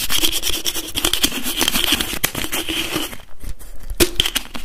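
Fingertips and nails rapidly tap and twist the screw cap of a translucent blue plastic bottle holding liquid. The result is a dense run of sharp, clicky taps and crinkly scraping with a faint ringing tone. The taps ease briefly near the end before a few louder clicks return.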